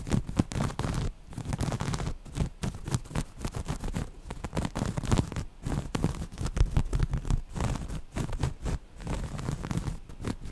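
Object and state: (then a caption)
Cotton waffle-weave fabric. Long nails rapidly scratch the textured cells of grey waffle-weave cotton fabric held up close. The result is a dense, continuous run of rough, muffled scratching bursts with a heavy low body, pausing only briefly now and then.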